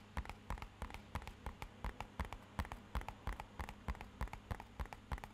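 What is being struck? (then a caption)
Small rigid cardboard box. Fingernails and fingertips tap quickly on the side of a small, rigid, hollow, matte-black rectangular cardboard box. About two dozen short, dull, hollow knocks come in a loose, uneven rhythm over a faint steady low hum. Each knock dies away almost at once.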